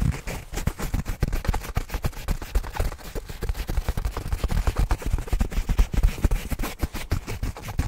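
Fingertips and nails of both hands scratch and rub the surface of a medium black nylon fabric bag, soft and apparently padded, held up close in front of the mic. The result is a dense, irregular stream of short scratchy strokes with a heavy, muffled low-end thump and very little brightness, each stroke dying away almost instantly.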